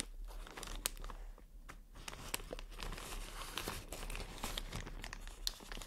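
Long nails tap, scratch and crinkle on clear inflated plastic air pillows, a type of air cushion packaging. It makes a steady, dense crinkling texture broken by sharp, bright clicks and short tearing-like scrapes that stop almost at once.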